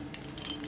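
Metal military dog tags, worn as identification, clink together. Faint, bright, high-pitched metallic chinks sound in a quick jingle over less than a second, each with a short ring.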